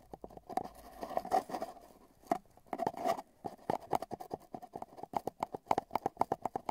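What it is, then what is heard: Cardboard tube tapped with tweezers. Metal tweezers tap and patter at both open ends of a long, hollow, empty brown cardboard tube with tape bands, with the microphone inside the tube. The result is a rapid run of dry, hollow knocks, each carrying a resonant tone near 850 Hz that dies away almost at once. The knocks bunch into scratchy flurries early on and then space out into quicker, more distinct taps.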